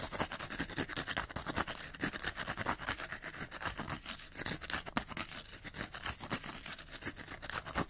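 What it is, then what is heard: Cardboard light bulb box scratched. Fingernails scratch fast along the side of a small, hollow, printed cardboard light bulb box. The result is a steady run of rapid, dry, papery scratching bursts with a bright, hissy edge and a faint hollow body. Each stroke stops almost at once, with no ring after it.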